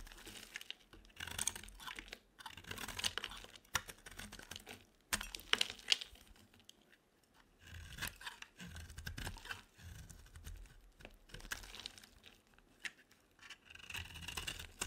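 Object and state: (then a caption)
Dry bar soap being shaved. A utility-knife blade shaves the edges of a rectangular, solid, white bar of dry soap in carving strokes. Short, dry, bright scraping and crunching bursts come at an irregular pace, with brief pauses between strokes. The sound is quiet, and each scrape cuts off without ringing.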